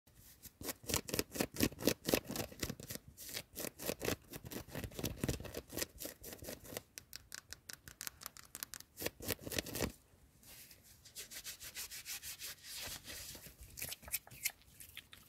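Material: Cotton knit.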